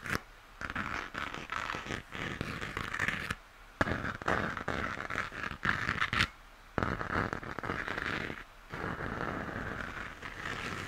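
Fingernails scratch the textured surface of a hollow plastic moon lamp near its base, making dry, rasping scratches. The scratching comes in uneven bursts separated by a few brief near-silent pauses, with the sound centred in a bright midrange around 1.7 kHz.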